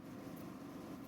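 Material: Nothing is struck.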